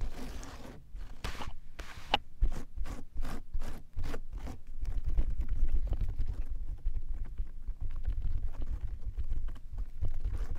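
A flat layer of clear slime spread on a frosted plastic tray is pressed and rubbed with the flat fingertips of both hands, which have long nails. Sticky, squelching contact sounds repeat in a quick rhythm of short wet bursts over a low rumble. The bursts then blur into continuous crackly rubbing.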